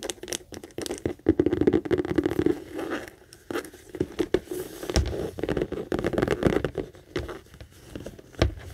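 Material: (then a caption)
Leather. Long acrylic nails tap and scratch the textured saffiano leather of a hollow, medium pink Kate Spade handbag, first on the base and then on the front panel facing forward. Fast, dense clicks and scratchy rustles come in uneven bursts, with a dull, hollow low-mid body and little bright content. Each tap dies away almost instantly.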